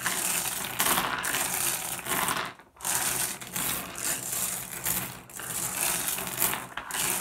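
Fingertips rake and shuffle a pile of small, solid, blue iridescent flat glass gems on a wooden surface, producing a continuous bright clicking and clattering rattle. The sound runs steadily with a brief lull near the middle before the shuffling resumes.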